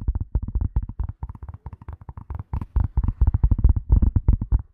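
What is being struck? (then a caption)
Leather glasses case. Long nails and fingertips tap and scratch the surface of a flat, hollow grey leather glasses case held in both hands in front of the mic. About 23 quick, irregular taps sound deep and dull, with almost all their energy low and no ring after each one. The tapping grows louder in the second half before trailing off at the end.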